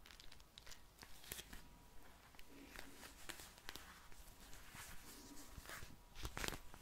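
A soft pink vinyl eye mask filled with gel beads is held close to the microphone and tapped and squished with long nails and fingertips. Quiet squelchy crinkling and sharp, bright nail clicks are heard over a low background rumble.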